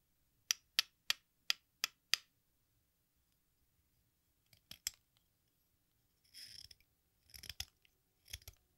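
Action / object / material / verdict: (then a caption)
scrape / chalk piece scraped by a metal knife / chalk / none. A metal exacto knife scrapes and shaves the red surface of a small, solid, watermelon-shaped sidewalk chalk slice held in one hand over a pink bowl, piling up red dust. Six crisp, bright, evenly spaced scrapes come first, then a pause. A couple of short strokes, a longer rasping shave and a few more scratchy bursts follow, all dry and high with almost no low end.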